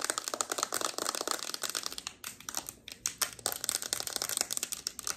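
A closed, hand-sized, flat rectangular peach cardboard eyeshadow palette (Revolution "The Wants") is held in both hands and tapped and scratched across its front and back with long red acrylic nails. Rapid, dry, bright clicks and scratchy rustles run almost continuously, like fast typing, with a brief lull around the three-second mark.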